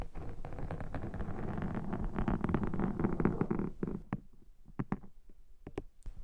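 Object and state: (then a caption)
Foam microphone windshield. A thin metal pick scrapes repeatedly across a black foam microphone windshield, up close. The first four seconds are a dense, low, rustling scratch, then it thins out into a few separate sharp scrapes and clicks with quiet gaps between them.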